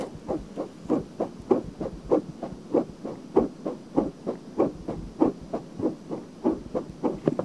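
Long painted nails scratch quickly back and forth over the surface of a pale pink silicone binaural microphone ear. About twenty soft, muffled scratching strokes repeat in a steady rhythm, each a short rubbery rasp centered in the low-mid range with little bright content.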